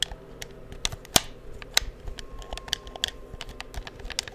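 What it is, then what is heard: Plastic game controller buttons clicked. Fingertips tap and click the buttons of a hollow black plastic PS4 controller held near the microphone, producing about 14 sharp, dry clicks at an irregular pace. The clicks are bright and die away almost instantly over a low, quiet background, with a faint steady tone in the second half.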